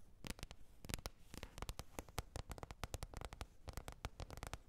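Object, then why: Plastic container lid. Long red nails tap and scratch a green plastic container lid in a quick, irregular run of short, dry clicks. Each tap has a low thud and a bright crack that dies away almost at once, over a faint scratchy hiss.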